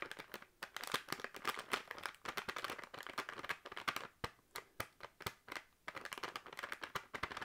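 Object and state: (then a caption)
Plastic crisp packet. A full, sealed plastic crisp packet is crinkled and tapped with fingernails, giving a quick, irregular run of sharp, bright crackles and clicks with almost no low end. Each tap dies away almost instantly, with brief pauses between clusters.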